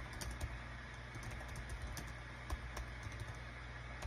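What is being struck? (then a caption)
Plastic wireless keyboard. Both hands' fingertips type rapid key presses on a small green-white plastic Dong Guan KPH-030 wireless Bluetooth keyboard with a built-in touchpad, its hollow thin body lying flat on a desk mat. Quick, light clicky taps patter over a steady low hum, with a few slightly louder presses standing out.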